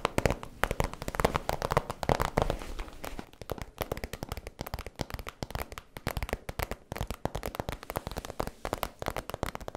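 Long nails tap and scratch the surface of a holographic vinyl zip cosmetic pouch, held close with its zipper edge visible. Rapid, dry crackling taps and crinkly scratches run throughout, fuller and louder for the first few seconds, then continuing as quieter, sharper clicks.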